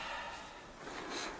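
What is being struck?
Nothing is struck.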